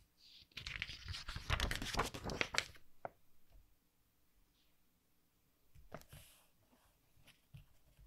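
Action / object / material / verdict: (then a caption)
scrape / softcover book with glossy paper pages / glossy paper / none. A page of a softcover anime artbook with glossy color pages is flipped with a loud, crisp crinkling rush of paper lasting about two seconds. Then a palm and fingers rub across the open spread in softer, scattered scratches and brushing swells with small dry taps.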